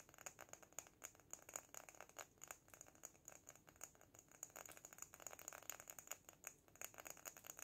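A small sand-filled glass jar with lace trim and an artificial succulent is lifted off the table in both hands while fingertips tap rapidly on the glass. The result is a fast, steady stream of crisp, bright clicks with a faint high glassy ring and almost no low end.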